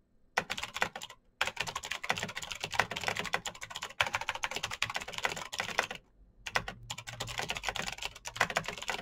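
Fast fingertip typing on a black Razer BlackWidow mechanical keyboard with plastic keycaps on clicky green switches. Bright, sharp clicks run in quick dense bursts, broken by brief pauses near 1 and 6 seconds.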